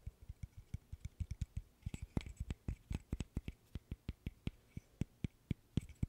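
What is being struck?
Small wooden interlocking stick puzzle.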